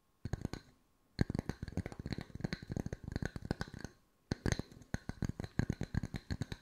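Wooden circles are tapped with the fingertips at mixed speeds for ASMR, in three bursts of quick, dry knocks separated by short pauses. The taps are short and woody, with a low, hollow body and almost no ring after each hit.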